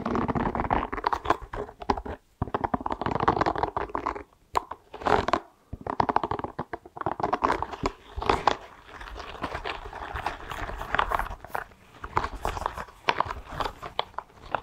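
A small, hollow blue spiky rubber massage ball is held in both hands in front of a microphone and scratched and tapped with fingertips and nails. The result is a dense stream of soft, rubbery scratching and crunchy clicks centered in the low-mid range, broken by brief pauses.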